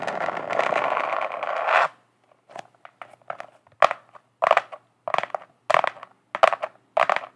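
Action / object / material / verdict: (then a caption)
scrape / glitter-coated notebook cover / glitter / none. Long acrylic nail tips scratch and tap a flat, glitter-coated notebook cover in close-up. A steady, gritty scratching runs for about two seconds, then gives way to a series of short, crisp crunchy scrapes and taps separated by silence.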